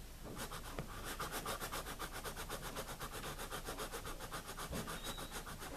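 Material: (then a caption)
Paper. A wooden pencil writes on the pages of a wire-bound paper spiral notebook lying flat on a table, its graphite tip scratching across the paper. The scratching is steady and rhythmic, with about four bright, papery strokes per second and a faint low rumble underneath throughout.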